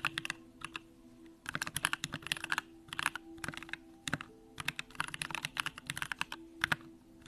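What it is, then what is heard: Mechanical keyboard typing. A Bakeneko65 compact mechanical keyboard with an aluminum case, pink plastic keycaps and Durock lavender switches is typed on continuously with the fingertips of both hands. Its rapid, crisp, bright keystrokes come in bursts with short pauses, over a faint steady low hum.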